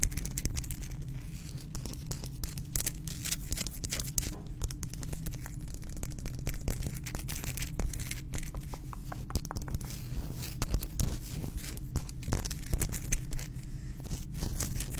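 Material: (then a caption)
Rock salt. Long pink nails scratch and tap the rough surface of a hand-sized, solid pink Himalayan salt rock held in both hands. Dense, rapid crackly scratches and sharp little clicks run throughout over a low steady rumble. The sound is brief, dry and bright.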